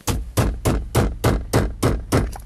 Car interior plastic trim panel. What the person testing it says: if I bang on it you can hear it over here somewhere